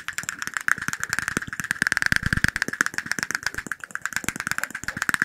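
A small, clear, shot-glass-sized glass cup, apparently empty, is tapped very rapidly with fingertips and nails. The result is a dense, fast stream of short, bright clicks and clinks over a steady glassy tone near 1.7 kHz. Each tap dies away almost instantly.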